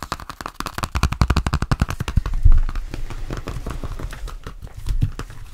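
Fingertips quickly tap the stiff cover of a red hardcover Bescherelle verb-conjugation book held in one hand. The result is a fast run of dull, low, short knocks that start as distinct taps. They then blur into a softer, denser patter, with a couple of heavier thumps along the way.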